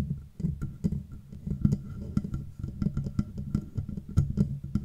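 Nails and fingertips tap rhythmically on the hollow, matte black metal body of a Blue Yeti microphone. The taps come as short, dull knocks with a low, hollow body resonance and quick clicky attacks, with a faint steady tone sitting in the background.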